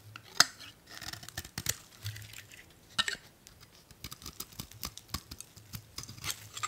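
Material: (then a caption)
Soap. A solid blue bar of old "Spring" soap, held in one hand, is shaved with a metal utility blade, peeling off thin curls. The result is a quick series of bright, crisp scraping crackles and short dry ticks that stop almost instantly, with little low-end body.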